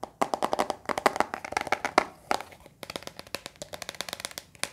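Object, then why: Hard plastic pencil box. Fingertips and nails tap a hollow, closed, lime-green hard plastic pencil box about hand length while it is held and turned near the microphone. About 29 quick, dry, hollow clicks with a mid-pitched plastic tone come in uneven bursts, each dying away almost instantly.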